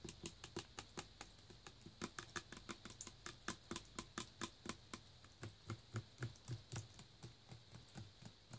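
Fingernails tap on the paper nutrition-facts label on the back of a full plastic Naked juice bottle held in the hand. About 34 quick, dry, bright clicking taps come in an uneven, fast patter, with a soft low thump under some of the later ones.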